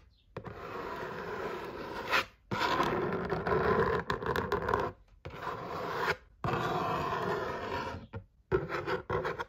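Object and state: Cardboard game box.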